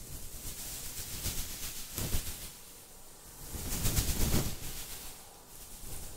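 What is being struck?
Nothing is struck.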